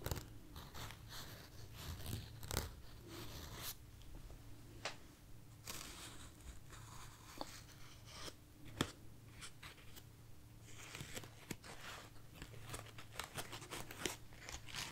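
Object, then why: Artificial foam roses. A light, soft bunch of white artificial foam roses held in a hand is tapped and scratched with long nails. Quiet, dry crinkling scratches run throughout, broken by sharp bright taps that die away almost at once over a steady low hum.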